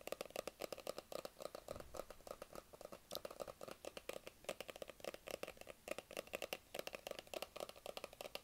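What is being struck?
Small cardboard phone box.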